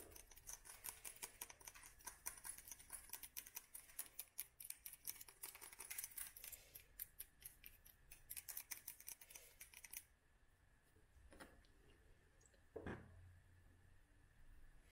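Long nails rapidly tap an embossed green glass jar holding a lit candle, making dense, bright clicks for about ten seconds. The tapping then stops, leaving quieter handling sounds and one duller thump near the thirteen-second mark.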